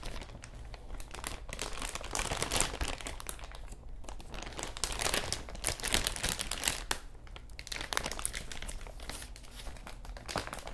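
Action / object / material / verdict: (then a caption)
scrape / thin plastic bag / plastic / none. A large, thin, clear plastic bag, empty and hollow, is held in both hands in front of a clip-on microphone and crinkled and crumpled with the fingertips. It makes a dense, irregular stream of bright crackles and rustles that swell and fade over a steady low hum.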